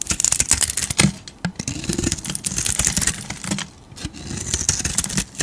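A utility knife blade scrapes and carves a hand-sized solid oval bar of soap, with a dark green painted floral surface and a tan interior, held in a hand with long teal nails, shedding shavings. Quick, crisp, bright scraping strokes follow one another in dense bursts, with a faint low hum beneath and brief quieter pauses between runs.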